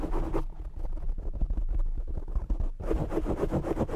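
Fingertips and short nails scratch and tap the black foam windscreen on a desk microphone. The result is a dense, muffled stream of low, boomy thumps and rough scratching with almost no high end, brushier bursts at the start and end and dull rumbling taps through the middle.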